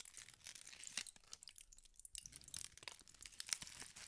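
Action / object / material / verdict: scrape / aluminium foil sheet / aluminium foil / none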